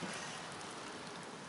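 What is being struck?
Nothing is struck.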